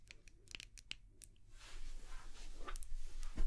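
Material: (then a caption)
Glass. Long nails tap a small white glass candle jar held close to the microphone, making quiet, sharp, bright clicks. The taps give way to a scratchy, rustling texture that grows steadily louder toward the end, over a steady low hum.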